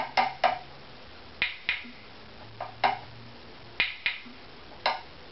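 A small stick held in the fingers taps the wooden top of a strung, hollow-bodied violin lying face-up on a mat, striking the lower bout and chinrest area. Nine short, dry knocks are heard at uneven intervals, one of them softer. Each has a woody tone around 750 Hz that dies away in about a tenth of a second.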